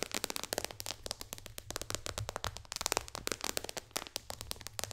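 Long dark fingernails on both hands tap fast across the solid glass touchscreen of an iPad lying flat on a lap. The result is a rapid, uneven stream of sharp, bright clicks that die away instantly, over a faint steady low hum.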